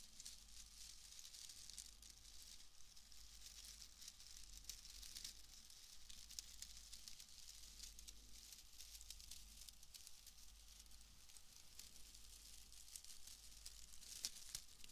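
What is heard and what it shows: A bundle of pale wood wool shreds is squeezed and rubbed with both hands close to the microphone. It makes a steady, quiet, crackly rustling with a bright, hissing top and a faint low rumble underneath, lasting the whole clip without a clear pause.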